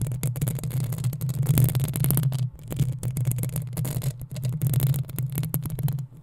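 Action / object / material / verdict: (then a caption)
scrape / metal mesh microphone grille / metal mesh / none. Long acrylic nails scratch and tap the sides of the metal mesh grille on a black desktop USB condenser microphone. The result is a dense, steady run of rapid scratching and tapping, heavy with low boomy rumble around 160 Hz and streaked with bright, hissy texture. Each tap dies away almost at once, and the sound thins briefly near the middle and again at the end.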